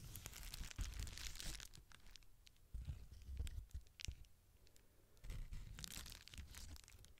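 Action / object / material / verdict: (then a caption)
scrape / plastic bubble wrap sheet / plastic / none. Fingers squeeze and crinkle the air-filled bubbles of a small rectangular clear plastic bubble wrap sheet held in both hands. Bright, dense crinkling and tearing-like rustles come in three louder bursts separated by quieter stretches, with soft, deep thuds beneath.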